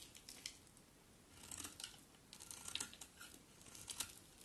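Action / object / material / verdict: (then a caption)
scrape / soap bar scraped with a metal blade / soap / none. A solid cream bar of soap held in the hand is quickly scraped with a metal utility knife blade, sending shavings flying. Quiet, irregular, bright scraping and crisp cutting strokes sit mostly in the high range, with short sharp peaks standing out from a low background hiss.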